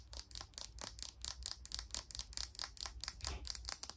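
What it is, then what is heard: Plastic makeup brush handle. A thin, hollow black plastic makeup brush handle, held in one hand, is tapped and scratched with long pink nails. The result is a quick, steady run of short, bright clicks that die away almost instantly, with faint scratchy texture between them and a soft low rumble underneath.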